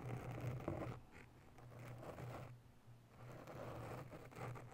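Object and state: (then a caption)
Foam microphone windscreen being scratched. Long nails scratch quickly around a grey foam windscreen covering a microphone. The result is a soft, muffled scratching rustle in uneven bursts, over a steady low hum, louder at the start and fading in and out after.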